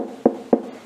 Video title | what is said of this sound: Французский деревенский хлеб по опарной технологии {НА ПШЕНИЧНОЙ ЗАКВАСКЕ} | постучите подушку звук Пока еще не глухой